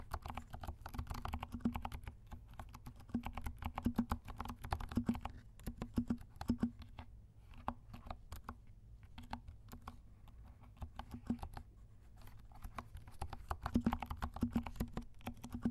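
Fingertips of both hands type on a compact black mechanical keyboard with silent switches and black and pink plastic keycaps. Soft, muffled clacks with dull low thumps come in quick runs, slowing to sparse taps around the middle before picking back up.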